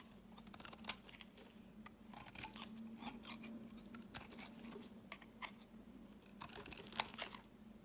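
A snap-off utility knife blade shaves curls from the edge of a solid rectangular lavender bar soap held in the hand. It makes quiet, dry, crisp scraping and crackly crunching sounds with bright, sharp flicks, over a steady low hum near 200 Hz.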